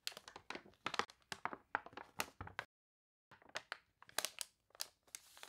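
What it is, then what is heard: Water-wrinkled paper catalog page. Hands with long nails lift, turn, and smooth down a wavy page of an open, water-wrinkled paper toy catalog. The result is a quick run of dry, bright crackles and crinkles with a brief silent pause in the middle. Each burst stops almost instantly, with no ring.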